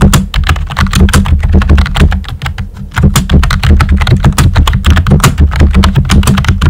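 Fingertips with short nails type steadily on a full-size, hollow-bodied pink plastic keyboard with round white typewriter-style plastic keycaps. They make a fast stream of short, clicky clacks over a heavy low thump, with each key sound dying away almost instantly. The typing briefly slows and softens around the middle before picking back up at a steady pace.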